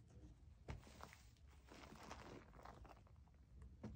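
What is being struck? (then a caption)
Plastic foam bath pillow with suction cups. Long nails scratch and squeeze the nubs on the back of a white plastic foam bath pillow with suction cups. The result is a quiet, continuous, muffled rustle of soft scratches and low, dull thumps, with a firmer thud near the start and another near the end.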